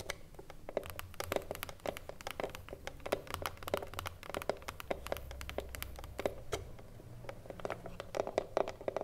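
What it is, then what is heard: Wooden cigar box tapped with nails. Long fingernails tap quickly and irregularly on the top edge and front face of a hollow, printed wooden cigarillo box standing on a table. The result is a steady run of short, dry, clicky taps with a slight hollow tone in the mid range. A faint low rumble sits underneath.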